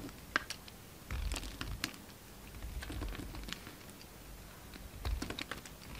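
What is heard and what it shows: A utility knife shaves a solid lilac bar of soap, carved and faceted and held in hand. Soft, dry crackling scrapes and light ticks come in short bursts over a low, steady hush, with brighter crisp flecks as the blade cuts.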